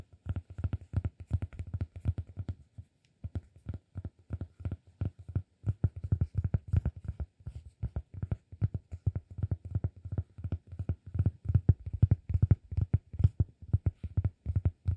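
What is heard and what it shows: A solid round cork disk is held flat in one hand while fingertips tap and scratch its top surface. The result is a rapid, uneven stream of dozens of soft, dull, low thuds with almost no ring, broken by a brief pause near the three-second mark before continuing steadily and slightly louder.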